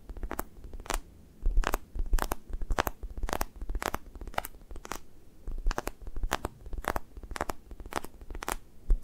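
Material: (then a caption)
Foam. Fingertips poke and peel off an orange toast-shaped squishy toy made of soft, solid foam with a sticky skin, held in the hand and leaving dimples. Soft, low, squelchy presses are broken by quick crackly peeling ticks that reach up bright, repeating in an uneven rhythm throughout.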